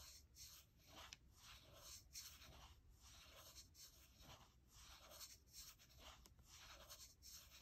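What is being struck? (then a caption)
Aluminium laptop palm rest. Long nails scratch and rub the aluminium palm rest of a gold MacBook Air, just to the right of the trackpad. Quiet, bright, dry scratching strokes repeat in a steady back-and-forth rhythm over a faint low hum.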